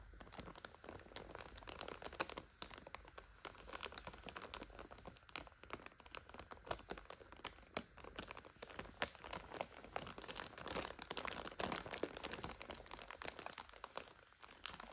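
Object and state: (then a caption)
Plastic-wrapped instant noodle multipack. Long nails tap and scratch across the crinkly clear plastic overwrap of a full five-pack of instant noodles. Dense, quiet crackling and crinkling runs throughout, with many short, sharp taps and bright rustling scratches over a soft, steady background.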